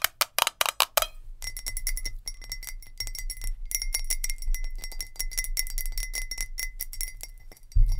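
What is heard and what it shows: Long nails tap fast on a glass jar with a lid, giving bright clinking glass sounds. About six louder, separate taps open the clip, then a rapid, dense stream of lighter clicks follows with a steady ringing tone near 2 kHz.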